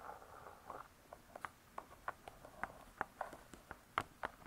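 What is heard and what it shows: Long stiletto nail tips tap quickly on the laminated board cover of a closed spiral-bound hardcover cookbook. About sixteen light, dry, clicky taps sound in an uneven rhythm, with a faint scratchy rustle at the start. Each tap is quiet, midrange-toned near 1.3 kHz, and dies away almost instantly.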